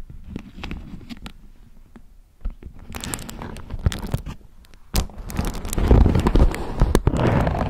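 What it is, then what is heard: Beeswax-coated cotton food wrap. A thin polka-dot beeswax-coated cotton food wrap is crinkled and scratched with long nails up close. Sharp crackles and scratchy rustles come in uneven bursts over a soft low rumble. The sound grows denser and louder toward the end.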